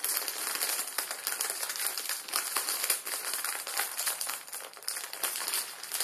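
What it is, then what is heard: Plastic film noodle packet crinkling. The back side of a full plastic-film ramen noodle packet is held in both hands and squeezed with the thumbs, crinkling the film. A steady, dense stream of bright, crackly crinkles runs throughout with almost no low end, swelling and dipping slightly in loudness as the squeezing continues.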